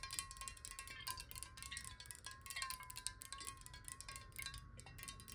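A clear, square, hollow glass water bottle, partly filled with water and held sideways, is tapped fast with long nails. The result is a quiet stream of rapid, bright clicks over a steady ringing tone near 1.1 kHz, with each tap decaying almost at once, giving a chime-like tinkle.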